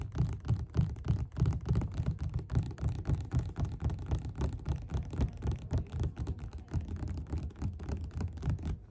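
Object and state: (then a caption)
Paperback book. Fingerpads of both hands tap rapidly on the beige paper cover of a solid, closed paperback book lying flat on a table. The result is a fast, loosely uneven stream of soft, dull, low thuds at nearly four taps per second, each dying away almost instantly with no ring and no high or bright content.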